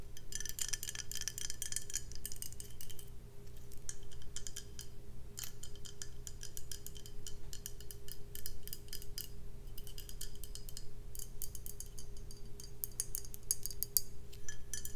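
A full brown glass beer bottle is tapped rapidly with long nails on its body and bottom. Quick, bright clicking taps with short high glassy rings continue throughout, pausing briefly now and then, over a steady low hum.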